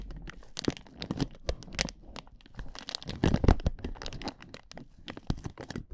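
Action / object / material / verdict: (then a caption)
scrape / inflatable plastic air-column cushion / plastic / none. Hands with long nails grip the sides of a clear, hollow, air-filled inflatable plastic air-column cushion and squeeze it. The result is a dense run of crinkling, crackling plastic crunches with sharp transients and a low, soft body.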